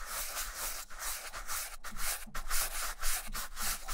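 A vintage black leather Camper sneaker with a rubber sole, held in one hand, is brushed along its upper with a wooden-backed dark bristle shoe brush. Steady back-and-forth strokes make a dry, bright, hissing bristle scrub with short pauses between passes.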